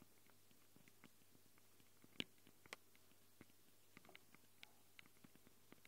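Long glitter acrylic nails scratch and tap the metal-ringed X/Y mic capsules and grilles of a small black handheld Tascam recorder with a plastic body. Quiet, scattered clicks and soft scratching sit over a low hum, and two sharper bright taps stand out near the middle.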